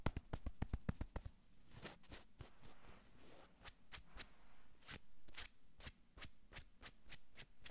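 Long nails sweep and palms rub quickly across a navy cotton sweatshirt on a man's upper back. A burst of rapid, crisp scratching strokes opens the clip, then gives way to a soft, continuous fabric rubbing. Sharp, bright nail sweeps cut through the rubbing at irregular intervals over a muffled low rumble.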